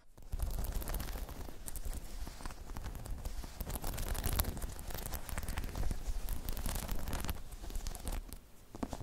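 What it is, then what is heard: Spiky rubber balance pod, scratched and tapped. Long chrome nails scratch and tap a medium-sized, hollow, dome-shaped spiky rubber/PVC balance pod. The result is a dense, steady stream of crackling, rustling scrapes with quick taps and a deep, low, hollow body under bright, sharp clicks.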